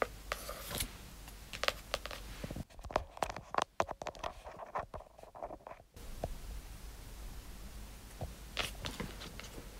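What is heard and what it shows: Long acrylic nails scratch and trace across the glossy front cover of a pink hardcover book made of paper-covered cardboard, lying flat on satin. Dry, crisp scratching strokes with bright edges come over a steady low hiss, and a stretch in the middle turns quieter with sharper, clicky taps before the scratching resumes.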